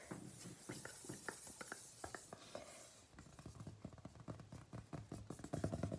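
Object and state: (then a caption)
Paper gift bag. Fingernails and fingertips of both hands scratch and tap the flat face of a large, hollow printed paper gift bag with a peacock design. For the first three seconds, a bright papery scratching hiss runs under scattered crisp taps; then come quicker, denser, hollow-sounding taps and brushes that grow louder toward the end. A faint hum sits in the background.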